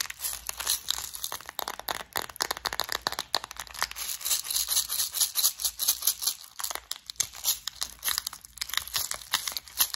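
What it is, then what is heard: Plastic bead organizer case. A clear plastic flower-shaped bead organizer full of gold studs is tapped and scratched with long nails, then turned and shaken in the hands. Dense, crisp clicks and scratchy crinkling rattle continuously, almost entirely bright with very little low end. Each tap dies away quickly.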